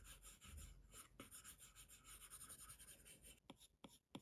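A plastic Apple Pencil tip rubs and scratches across the glass touchscreen of a large iPad Pro propped in a case, making quick coloring strokes. A steady, bright, raspy scraping runs through most of the clip, and a few sharper taps stand out near the end.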